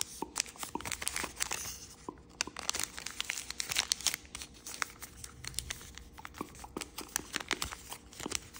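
Blue wave-printed origami paper is folded by fingers, lifted and creased in the hand, likely while folding a paper crane. Dense, bright crinkles and sharp crackling snaps come in quick irregular bursts, with quieter rustling in between and almost no low end.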